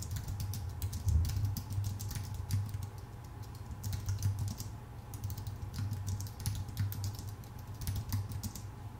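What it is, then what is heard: Aluminum and plastic computer keyboard being typed on. Both hands type with their fingertips on a full-size white Apple Magic Keyboard, which has plastic keycaps on a thin aluminum body. Quick, light, bright key clicks patter in a steady stream of short taps. A constant low hum sits underneath the typing.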